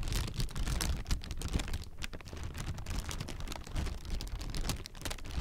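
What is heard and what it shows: A hollow, air-filled strip of clear plastic air-pillow packing is squeezed and crinkled with the fingers and palm. Dense, continuous crinkling crackles and quick bright snaps sit over a heavy low rumble of handling, steady throughout.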